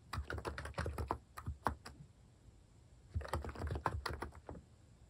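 Fingers type on a plastic mechanical keyboard fitted with cat-face keycaps, producing two bursts of quick, thocky key taps with a deep low thump and a brighter click on each press. A pause of about a second separates the bursts.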